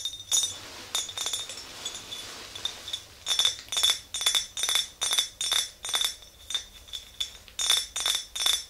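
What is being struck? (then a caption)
Glass jar. Long green nails tap the sides of an empty clear glass mason jar with a handle, its lid off and set aside. Bursts of quick, bright clinks come in an uneven rhythm, each with a short glassy ring near 3.5 kHz over a quiet background.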